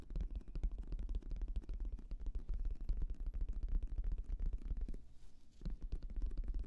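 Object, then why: Fabric-covered semi-rigid headphone case. A black, oval, fabric-covered semi-rigid Bose headphone case, hollow, is held close to the microphone and tapped across its surface with the fingertips. Rapid, dense, deep hollow thumps run continuously, with a brief quieter pause near the end before the tapping resumes.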